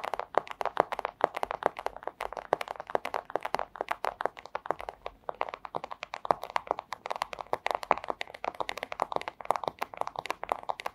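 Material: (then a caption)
Plastic. Long acrylic nail tips tap quickly and steadily on a flat, thin, clear plastic pouch. Each tap is a crisp, dry, crinkly click centered in the mids, with almost no low end and no ring. The taps run in a continuous, slightly uneven rhythm throughout.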